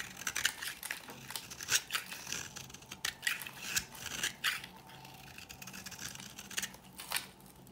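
An oval, solid, dry pink bar of soap held in the palm is scraped with a metal blade into powdery flakes. The clip is a run of quick, dry, bright scratching strokes with crisp crumbly texture and almost no low end. Each scrape is short and ends without ring.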